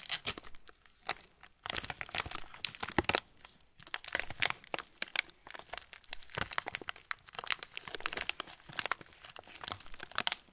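A full TUC cracker packet in yellow-and-clear plastic film is turned in the hands while fingertips squeeze the wrapper. It makes continuous bright, crisp crinkling in dense bursts with brief quieter gaps, mostly high frequencies and very little low end.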